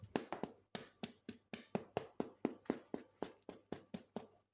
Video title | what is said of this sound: Préparation d'une baguette étape 11 (finale) - Sortie du four | on a le bruit sourd qui veut dire que c'est bien cuit